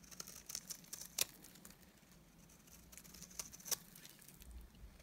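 A solid, dry white bar of soap is shaved into flakes with a utility knife blade. The clip is quiet and made of short, bright scraping ticks with almost no low end. Two sharper crisp snaps stand out over the fine, scratchy patter.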